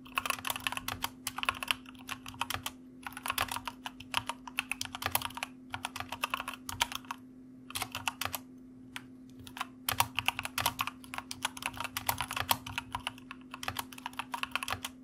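Fingertips of both hands type on a white mechanical computer keyboard with plastic keycaps, producing quick, bright clacking in bursts separated by short pauses. A faint steady low hum runs underneath throughout.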